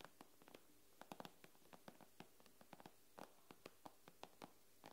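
Long nails tap and lightly scratch the glass screen of an iPad lying on a wooden table, making 23 quiet, sharp clicks. The clicks are short, bright and dry, and they fall at an uneven pace over a faint low background hum.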